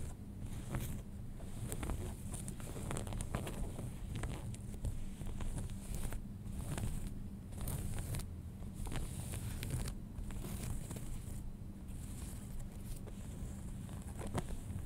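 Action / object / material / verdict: scrape / cotton denim jeans / cotton denim / none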